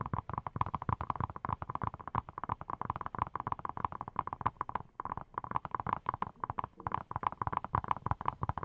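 A hand-sized, hollow-seeming yellow silicone pineapple-shaped brush is tapped quickly with fingertips wearing silicone rubber pads. The result is a dense, continuous run of soft, dull taps with a muffled low thump and a hollow midrange tone around 1 kHz. Each tap dies away instantly, with no ring.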